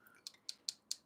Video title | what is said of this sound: Beginner acrylic nail techniques - Dip Powder Valentine's Love Marble Nail Art | when you tap with your brush and you hear that sharp click that means that our product has set